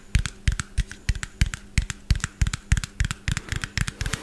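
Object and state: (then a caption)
Small plastic bottle tapped with fingernails. A small, hollow white plastic bottle with a yellow plastic cap is held in one hand and tapped rapidly with fingernails. About 23 quick, uneven taps sound over four seconds, each a short, dry click with a low hollow thump under a bright tick, dying out almost at once.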